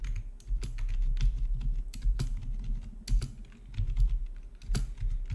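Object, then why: Plastic computer keyboard. Fingertips type on a full-size black plastic RGB backlit gaming keyboard with a hollow housing, resting on a marble surface. A steady run of quick key taps gives crisp, bright clicks over a low, hollow thump, with a few louder strokes standing out.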